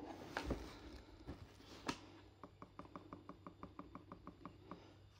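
A yellow plush glove taps and scratches with its black claw tips on the closed lid of a hollow black Converse x Andy Warhol cardboard shoebox that sits inside a cardboard shipping box. A few louder, irregular scratches and knocks open the clip. They give way to a steady run of light, evenly spaced taps that sound dull and papery and die away quickly over a low background hum.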